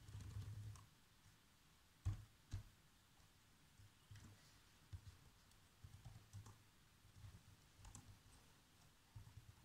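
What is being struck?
Plastic laptop keyboard.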